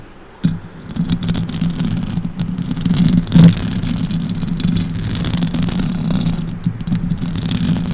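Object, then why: Metal mesh microphone grille scratched by fingernails. Long orange acrylic nails scratch and rub the metal mesh grille of a silver Blue Yeti microphone. After a quiet start, a dense, low, rumbling scrape begins and continues steadily with faint bright rattles, swelling louder briefly midway.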